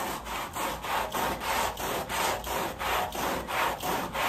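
A wet, soapy woven pile area rug lying on a plastic sheet is scrubbed with a red-handled push brush with white bristles, leaving stroke lines in the foam. Steady back-and-forth strokes, about three per second, make a wet, hissing scrub centred in the midrange around 900 Hz, with little low end.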